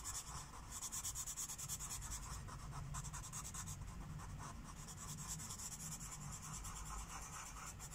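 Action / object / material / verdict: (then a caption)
scrape / felt-tip marker on a paper page over a wooden table / paper / none. A teal Sharpie felt-tip marker rubs quick short strokes over a thin white paper coloring book page resting on a wooden table. The result is a steady, rhythmic scratchy rubbing with a bright, high hiss over a soft low rumble.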